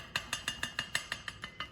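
An old, blown Ford Focus ST engine mount with polyurethane inserts is shaken by hand, giving ten quick, evenly spaced, bright clinking rattles that die out almost at once. The mount is loose and not solid, and it is blamed for wheel hop.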